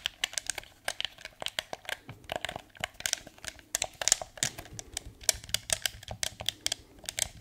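A blue hard plastic PS4 DualShock 4 controller, hand-sized and hollow, is held in both hands while fingertips click its buttons and tap its shell. About thirty quick, dry, bright clicks and taps come in an irregular stream, each ending almost instantly with little low-end body.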